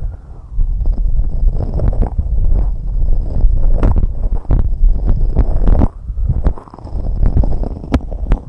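Long red nails tap and scratch on the white silicone rubber ear covers of a binaural microphone in fast fingertip and nail tapping. The sound is a dense run of deep, muffled thumps and rubbery scratching, nearly all low-pitched, with short gaps around one and six seconds and a few sharper, brighter clicks.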